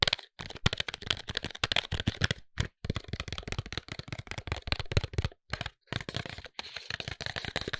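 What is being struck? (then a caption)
Cardboard cosmetics box. Fingertips and short nails tap and scratch the faces of a tall white Sofina cardboard cosmetics box, hollow with the product inside. Dense runs of quick, dry taps and scratchy rustles come in bursts separated by brief silences, each tap hollow and papery with a low thump beneath a bright, crisp edge and no ring.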